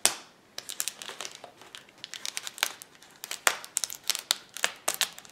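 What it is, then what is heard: Plastic bubble wrap sheet. Fingertips and nails press, pop and scratch the air bubbles of a flat, clear plastic bubble wrap sheet lying on a table. After an opening crackle and a brief pause, there is a dense, irregular run of sharp, bright snaps and crinkles. Each pop cuts off almost instantly, with no low end.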